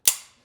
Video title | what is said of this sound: A Battleship Issued 1911 | your average 1911 sounds like a baby rattle when you uh shake it like that. This one has a super tight fitting slide on it.